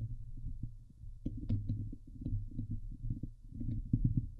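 Long nails scratch the hollow steel wire-mesh dome grille of a Blue Yeti microphone. The scraping comes through as a dense run of muffled, low thumps and rasps, almost all bass with little high end, each stroke dying away quickly.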